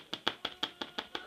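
Seven quick, dry taps on a freshly baked half-baguette, each a short bright knock with a hollow ring. The hollow sound shows the bread is baked through.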